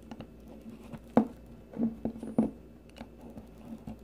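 A metal blade on a blue plastic peeler shaves a solid, rounded green bar of soap. Soft, dry scraping strokes come at an uneven pace, each a short, muffled rasp centered low in the midrange that dies away almost at once over a quiet background.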